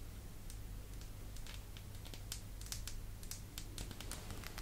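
A small rectangular glass perfume bottle, partly filled with amber liquid and topped with a round purple metallic cap, is held in both hands and tapped and scratched with long pastel acrylic nails. Quick, bright clicking taps and light scratches come in an irregular patter over a steady low hum.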